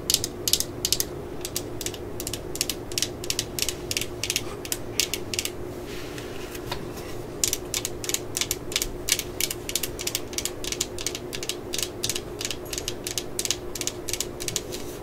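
Long nails tap and scratch the yellow and black plastic body and collar of a cordless drill resting on a mat, held in hands. Dozens of quick, bright clicks come in fast runs over a faint steady low hum, with a short softer scratching pause near the middle.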